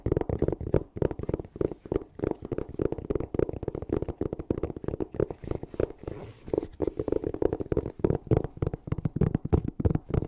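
Long nails rapidly scratch and tap a closed, hollow, black fabric-covered hard-shell EVA zipper case held close to the mic. The result is a dense, fast run of short, dull, hollow knocks and scrapes with a low, muffled body and almost no brightness, each one dying away almost instantly.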